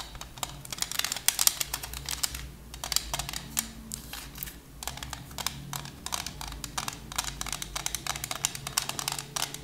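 A thin plastic CD case with a disc inside is held in both hands and tapped and scratched with long nails. It makes a quick, uneven run of sharp, bright clicks and dry scratching that stops dead after each tap, quiet overall and mostly high-pitched with little low end.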